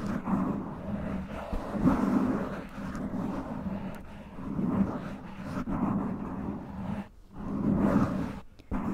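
Long nails and fingertips gently scratch and rub a black foam windscreen on a microphone. The result is a dense, muffled, low rustling that swells and fades in waves, with almost no bright content.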